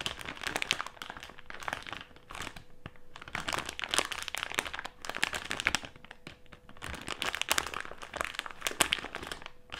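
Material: Plastic.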